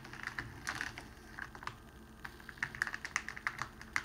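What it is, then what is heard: Crinkling cellophane sheet. Fingertips of both hands press and smooth along the crease of a long clear cellophane sheet folded flat on a red cloth tabletop, with a rose lying untouched beside it. The result is a quiet run of short, sharp crackles centered around 2 kHz. They come in scattered bursts with a brief lull in the middle, then grow denser and louder toward the end.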